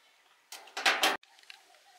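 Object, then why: Soap bar scraped with a small metal blade. A small metal blade scrapes and carves shavings off a solid, palm-sized blue Rin laundry soap bar held in one hand, with the shavings falling onto a concrete floor. A few quick, bright, rasping scrapes rise in loudness and stop abruptly, followed by faint light ticks and patters.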